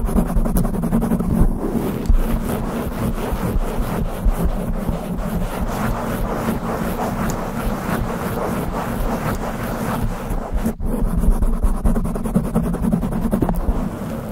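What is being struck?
Foam microphone windscreen.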